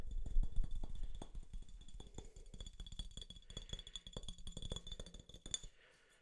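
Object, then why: Glass drink bottle. A clear glass soda bottle with a yellow label, held sideways, is tapped along its body with fingertips and nails. Quick, irregular taps give dull low knocks with a faint high glassy ring over them, fading out near the end.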